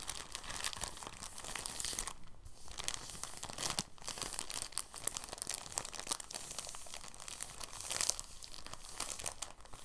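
A clear, thin, soft plastic bag is rolled up on a table under the fingertips, giving a steady, dense stream of bright crinkling and crackling. Brief quieter gaps fall near 2.3 and 3.9 seconds, and the crinkling swells slightly louder around 8 seconds.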